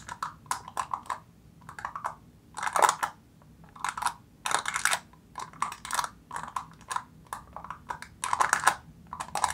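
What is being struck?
Foil seal on a plastic jar.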